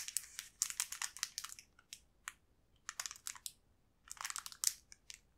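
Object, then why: Thin plastic candy wrapper. A small green transparent plastic wrapper holding a single crepe cookie stick is held in both hands, squeezed and rotated. It gives off bright crinkling and crunching in three bursts of dense, sharp crackles separated by short quiet gaps.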